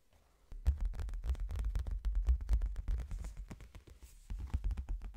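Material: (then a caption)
Cardboard. Fingertips tap on the cover and page edges of a hardcover book, moving from slow to fast. After a half-second of quiet, a dense, uneven run of dull, low thumps follows with almost no ring. The taps ease off briefly near the four-second mark, then pick up again.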